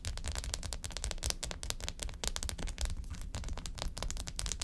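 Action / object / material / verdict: tap / sheet of foil-wrapped ice pack cells / foil / none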